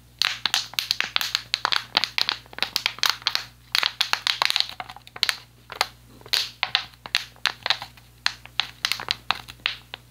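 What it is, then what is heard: Empty plastic water bottle. An empty, hollow, clear PET plastic water bottle with a blue cap is squeezed and crushed with the fingers. It makes rapid bursts of sharp, bright crinkling and crackling that come in quick clusters with brief pauses. A faint steady low hum runs underneath throughout.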